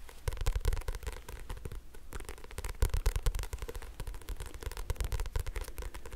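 A thick 'hibu' paperback phone directory with a glossy paper cover is held close to the mic while fingertips and nails tap and scratch its cover and spine. The result is a dense run of quick, dry taps and crackly scratches with a deep, muffled thump under each touch.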